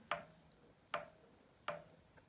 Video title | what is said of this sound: Audio Tweak for Music Lovers | this one has got some sand in it and obviously that's a lot better for acoustics now